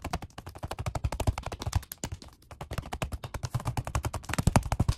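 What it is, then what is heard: Vinyl-covered foam bench pad. Both hands tap rapidly with the fingertips on a black, vinyl-over-foam workout bench pad with a red stripe. About forty short, dull thuds sound in an uneven flurry, deep and muffled with almost no ring. A brief pause comes midway before the tapping speeds back up.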